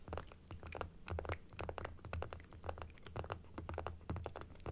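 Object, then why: Plastic dental teeth model. A small hollow plastic dental model with white plastic teeth, pink gums and a blue frame is tapped rapidly on the teeth with long acrylic nails, first on its stand and then held upright in both hands. The result is a dense, irregular stream of short, dry clicks with bright edges over a low, soft body.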